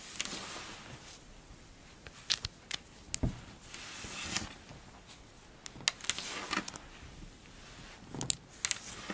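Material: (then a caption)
Sand. A pile of pink kinetic sand is squeezed and pulled apart by long-nailed hands, and the sand crumbles down in clumps. Soft, bright, hissing crunches swell and fade, broken by short, sharp clicks.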